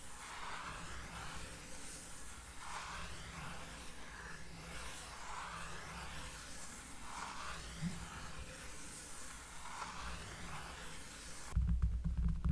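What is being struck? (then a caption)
Cork trivet. A round, flat, solid cork trivet about 20 cm across, lying on a table, is traced and rubbed slowly with the fingertips and long painted nails of both hands. It makes a soft, steady scratchy rustle with a deep, bassy rumble underneath and gentle swishing strokes that rise and fade in a loose rhythm. Near the end, a louder, boomy low-end burst cuts in.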